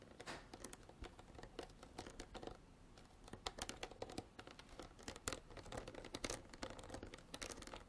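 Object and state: Plastic water bottle.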